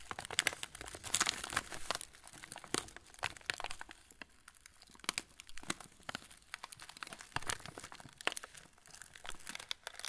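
A full yellow plastic-film TUC cracker packet is tilted and squeezed by fingertips, crinkling the wrapper. Dense, bright crackles and sharp snaps come in uneven bursts for about ten seconds, with a quieter stretch in the middle.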